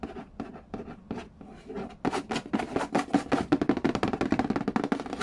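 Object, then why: Cardboard game box with printed lid. Fingertips trace and scratch across the glossy printed lid of a hollow Game of Life cardboard board game box and tap near its edge. The first two seconds are softer, scratchy strokes; then come quicker, louder taps with a hollow, papery knock centered around 285 Hz and a very short decay.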